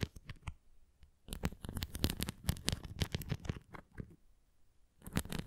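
Fingertips and nails scratch the nubs of a red plastic flying ring toy held at the sides. Quick, dry, bright scratching clicks come in dense clusters, with short quiet pauses near the start and toward the end before a final burst.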